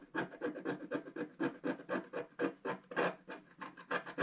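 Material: Coated paper.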